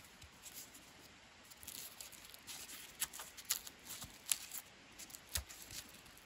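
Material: Wood bark.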